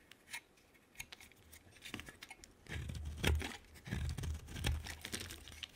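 A utility knife blade cuts and scrapes a solid, hand-sized orange oval bar of soap with a green rim. Crisp, bright scraping and crackling strokes come in irregular bursts over a low, dull rumble. The bursts grow louder and denser toward the middle and end.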